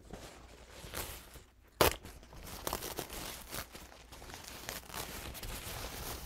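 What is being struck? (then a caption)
Paper towel with dried paint. A large, thin paper towel with dried paint stains is unfolded and crinkled between both hands with the fingertips. Soft, bright rustling and crackling runs throughout, with one sharp, loud crunch near the two-second mark, followed by steady crinkles.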